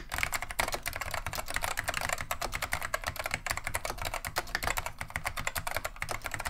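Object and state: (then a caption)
Vintage plastic mechanical keyboard. Both hands type continuously with their fingertips on a beige plastic vintage Wang 725 mechanical keyboard fitted with Alps SKCM Neon Green/Lime switches. The result is a rapid, steady stream of short, crisp clicks with a bright clack around 2.2 kHz over a faint low thump.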